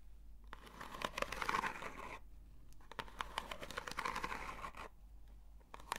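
Long nails scratch a long, hollow, textured corrugated cardboard box, held upright and then horizontally. Two slow rasping bursts of scratching swell and fade, each with scattered sharp ticks and a dry, papery texture centered in the mids with bright edges.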